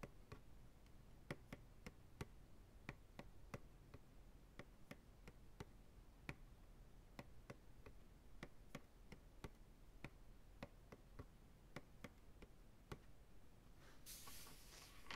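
Fingertips and nails tap the sides of a medium white plastic ice cream pail, hollow and empty, held upside down. About 32 short, dry, crisp ticks sound at a slow, uneven pace over a steady low hum, each dying away almost instantly. A soft bright hiss rises near the end.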